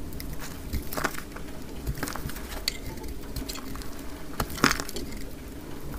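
A utility knife blade scrapes thick curls off a solid, dry orange-yellow soap bar, played back at double speed. Continuous dry, crumbly scraping and crackling sits over a low rumble, with a few sharper crunchy clicks standing out, the loudest near the end.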